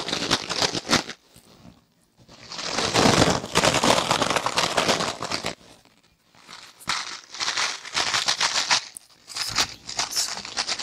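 A palm-sized rectangular kitchen sponge of soft, porous yellow foam with a green abrasive scouring layer is held in the hands, squeezed and scratched with long dark-painted nails. It gives crunchy, bright crinkling and scrubbing sounds in several dense bursts separated by brief near-silent pauses.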